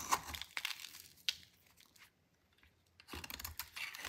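A solid, dry white soap bar is held in the hand and shaved with a metal utility knife blade. Brittle scraping and crunching bursts come in two stretches with a quiet gap between them, each bright and crackly with sharp crisp snaps.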